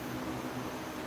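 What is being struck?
Nothing is struck.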